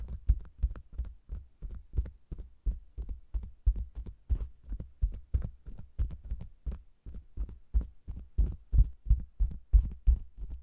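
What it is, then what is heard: Faux leather cosmetics bag. Fingers with long nails tap and scratch the sides and bottom edge of a round, hollow faux leather cosmetics bag with a microphone inside. It produces a steady run of deep, muffled, booming thumps, about three per second, with faint scratchy tails and a low hum underneath.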